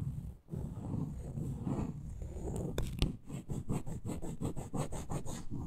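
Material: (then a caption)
Wood. Long nails scratch and tap the solid surface of a small reddish-brown wooden block with a glitter top edge. A low, rumbling scrape runs for the first few seconds, then sharp taps cut in, followed by a steady series of quick scratching strokes with a bright, hissy edge.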